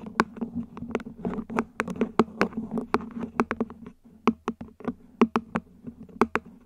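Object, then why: Upside-down ribbed plastic plant pot. Long nails tap quickly and irregularly on the top edge and sides of a small, hollow, mint-green ribbed plant pot, probably plastic, placed upside down. Each tap is a sharp, dry click with a bright edge that dies away almost instantly. Beneath the taps runs a faint, low, steady hum.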